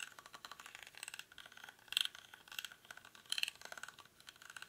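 Fingernails scratch the weave of a small, hollow woven rattan or reed basket held in both hands. The result is a dry, bright, crackly scratching and rattling with no low end, rising into louder bursts around two seconds and again near three and a half seconds.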